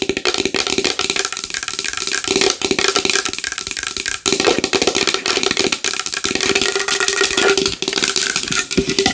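Long nails tap a large wooden bowl fast and hard in a dense, continuous stream of clicks. The taps are bright and crisp, with a hollow ring near 460 Hz under each one and almost no low end.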